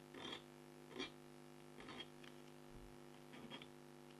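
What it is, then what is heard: Scratch art board being scratched. A red-handled scraper pen scratches lines into the coating of an A4-size black scratch-art card (coated board) held flat by one long-nailed hand. Several short, quiet, dry scratching strokes with a bright, rasping edge come at an uneven pace. A faint steady hum sits underneath.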